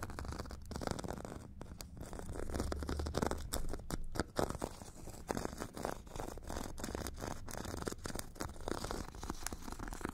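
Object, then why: Foam foot file with abrasive grit surface scratched by a metal stick. A metal stick scratches the purple abrasive grit layer of a solid, hand-held foot file with a white foam core. The result is a steady run of rapid, rough scraping strokes, with dry, gritty rasps over a low, dull body.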